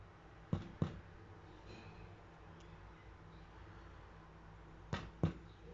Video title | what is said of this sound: Herb Bread with Basil and Oregano (Easy Bread Recipe) - Easy Home Cooking | you can also determine the doneness of the bread by tapping on it if it sounds hollow it's done